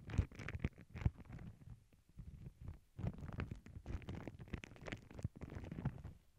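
Long glittery nails scratch and tap across a flat paw-print tissue paper sheet resting on a cork board. The sound is a quiet, muffled run of soft scratches and light taps, heavy in low rumbling tones with brief brighter crackles, pausing briefly before resuming.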